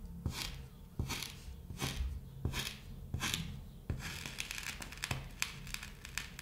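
A thin stick pokes rows of holes into a flat, solid cut sheet of kinetic sand. Each poke gives a soft, low thud with a bright, gritty crunch and a brief hiss. The pokes come in a steady, uneven series that grows busier and crunchier toward the end.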